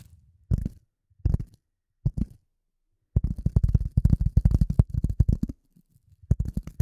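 A rectangular gray polyethylene foam sheet, held in front of the microphone, is tapped and scratched with the nails of both hands. Three short bursts of dull, low, muffled thumps are followed by a long, rapid, uneven run of soft tapping and a final brief burst. Each tap dies away almost instantly with no ring.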